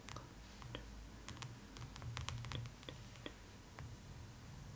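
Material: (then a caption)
Glossy cardboard. Long nails tap along the top edge of the glossy paper front cover of a large, closed hardcover art book, The Art of Spirited Away, lying on cloth. The taps come as a quiet series of short, bright clicks over a low, steady background rumble.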